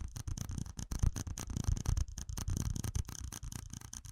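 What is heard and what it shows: A small, hollow, empty red plastic cup with ribbed rings is held in one hand and tapped and rubbed with fingertips and nails. The result is a quick, continuous run of dull, hollow thumps under a thin, bright scratchy rasp, with each tap dying away almost instantly.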